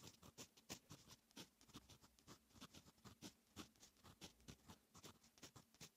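A fine metal fountain pen nib writes on a lined paper notebook page, making a quick, steady run of short, dry scratching strokes. Each stroke is bright and papery with a soft, low body beneath it, and the whole sequence stays quiet and close.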